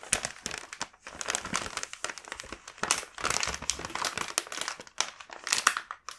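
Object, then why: Plastic snack bag. Fingertips rub the back of a full plastic snack bag, producing a dense, bright crinkling with rapid crackles and brief pauses. The sound sits mostly in the high range with almost no low end, and each crackle dies away almost instantly.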